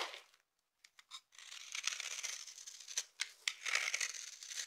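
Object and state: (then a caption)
Bar of dry soap being scraped. A knife blade with a yellow handle carves and scrapes the surface of a solid, palm-sized bar of dry purple soap held in the hand, shaving off flaky curls. Quiet, crisp scraping starts, then a few short sharp scratches, then longer bright, crackly shaving strokes broken by sharper crunches. The sound has almost no low end.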